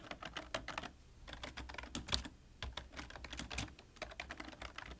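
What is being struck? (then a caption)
Plastic computer keyboard. Both hands type quickly with their fingertips on a full-size black plastic computer keyboard with a hollow body, producing a rapid run of sharp, bright key taps. The taps come in bursts with short pauses, over a faint steady low hum.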